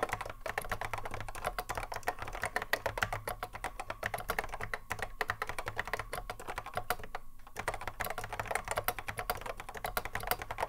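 Both hands touch-type continuously on a cream Apple M0110A keyboard, whose hollow plastic case holds Alps SKCC mechanical switches and rests on a wooden desk. A steady stream of quick, dry, clacky keystrokes sounds with short brief pauses, over a low steady hum.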